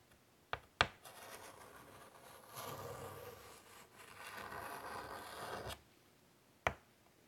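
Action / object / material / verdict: scrape / chalk on a wooden-framed chalkboard / chalk / none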